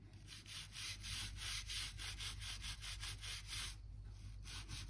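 A narrow gap-cleaning brush with a blue handle scratches back and forth along the gap between old oak floor planks beside a white skirting board, brushing out dirt and dust. Rapid, bright, scratchy bristle strokes repeat at roughly four per second, with a brief pause near the end, over a steady low hum.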